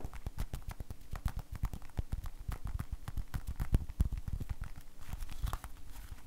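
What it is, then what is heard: Rubber glove. An empty, hollow blue rubber household glove is held up by the cuff, shaken and flapped while fingertips rub and squeeze the rubber. It makes a dense, steady run of soft, dull flapping thumps and brief crackly taps, heavy in the lows, that continue without pause for the whole clip.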